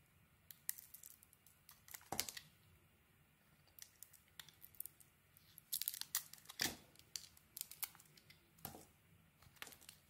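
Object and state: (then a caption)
Soap bar being shaved. A metal blade shaves strips off the surface of a mostly peeled, solid green soap bar held in the hand, with a pile of shavings nearby. Quiet, crisp, bright scraping and crackling come in many short bursts with brief pauses, each cut snapping off quickly with almost no ring.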